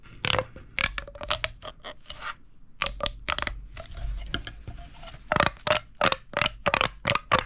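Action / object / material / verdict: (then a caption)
scrape / corrugated plastic pop tube / plastic / none. A large, hollow purple corrugated plastic pop tube is gripped in the hand and compressed and stretched so its ribs crackle and pop. Quick bursts of bright, snappy popping and scraping come in clusters with short pauses, each carrying a faint pitched ring near 590 Hz.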